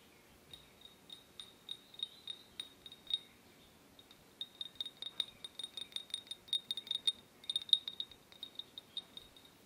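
A small drinking glass is tapped lightly about thirty times, producing quiet, bright clinks that ring at a high pitch near 3.7 kHz and fade almost instantly. The taps come in a slower, spaced run, pause briefly, then return in a quicker, busier series.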